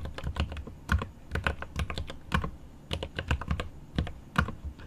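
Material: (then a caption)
Plastic, aluminum. Rapid fingertip typing with both hands on a 75% mechanical keyboard with plastic keycaps set in an aluminum case. The clip is a quick, uneven run of short, sharp key taps, each with a deep, thocky low thump and a faint bright click, dying away almost instantly.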